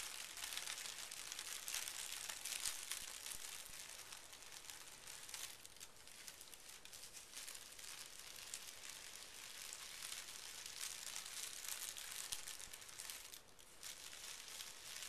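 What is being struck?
Tissue paper sheet.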